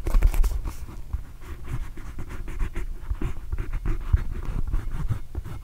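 Fingernails scratch over the pebbled surface of a small, hollow, inflated red and blue Arizona Wildcats rubber basketball held in one hand. The result is a steady run of quick, dry scratching strokes with soft, low, muffled thumps beneath them, and no ring after each stroke.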